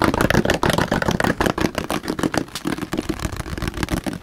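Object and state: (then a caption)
Plastic water jug tapped. A large, hollow blue plastic water jug, likely holding some water, is held up close to the microphone and tapped and slapped rapidly with the fingertips and palm. The result is a fast, uneven stream of dull, hollow thumps with a mid-pitched resonant tone, each hit dying away almost at once.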